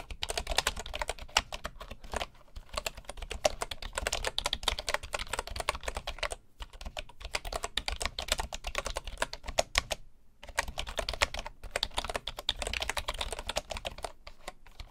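Fingertips of both hands type steadily on a full-size bamboo wood keyboard with a hollow body and wooden keys. The result is a fast stream of short, dry, bright clacks with a hollow knock underneath, broken by brief pauses around 2, 6.5 and 10 seconds.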